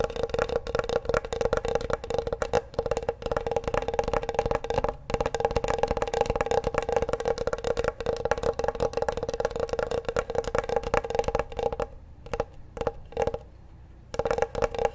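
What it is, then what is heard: Wooden cutting board. Fingertips and nails tap rapidly across the surface of a large, flat, solid wooden cutting board with a bamboo look, held upright with both hands. The result is a dense stream of short, dry, woody knocks with a steady hollow mid tone and almost no ring. The tapping thins into a few scattered taps with near-silent gaps toward the end, then picks back up briefly.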